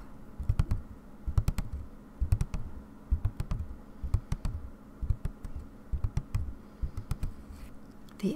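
Long painted nails tap quickly across taut white aida cloth stretched in a wooden embroidery hoop resting on a table. The taps come in short, quick bursts of dull, muffled thumps that die away almost instantly, with a faint low hum underneath.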